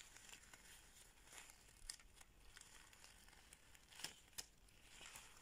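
A thin latex surgical glove is bunched and crumpled by bare fingers with long red nails, its fingers pulled and squeezed. The result is a quiet, steady, bright crinkling and rustling, broken by a few sharper, brief crackling snaps.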